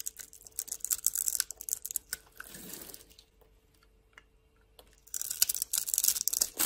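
A solid pink bar of soap held in the hand has its surface cut into small cubes with a metal blade that breaks them off. Crisp, bright scraping and crackling bursts come in irregular runs, pause in a near-silent stretch, then return in a dense, louder flurry of cuts at the end.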